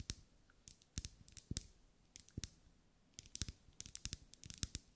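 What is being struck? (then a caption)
Wax pillar candle. A lit pink ribbed solid wax pillar candle is tapped and scratched with long acrylic nails. Quick, dry clicks and scratches come in uneven bursts with short pauses between them. Each one is bright and sharp and dies away almost at once, over a soft low thud.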